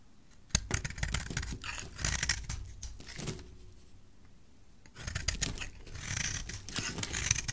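A solid rectangular yellow soap bar is held in the hand and scraped and cut with a utility knife blade, breaking off crumbly shavings. Dense, dry scratching and crisp cutting strokes come in bursts, with a quieter pause in the middle before the scraping picks up again.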